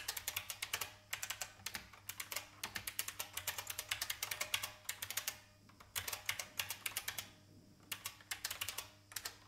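Fingertips type on a vintage IBM mechanical keyboard with plastic keys, heard close from the side. Rapid bursts of bright, sharp plastic clicks come with very short ring and almost no low end, separated by brief pauses near 1, 6 and 7.5 seconds.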